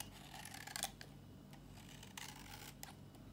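An old, dry, solid pink Tiffany bar soap is held in the palm and shaved into flakes with a metal box-cutter blade. Crisp, bright scraping cuts come in short bursts over a low steady hum, leaving flakes of soap.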